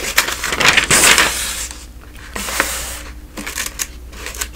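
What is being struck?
Thin newsprint pages of a thick telephone directory.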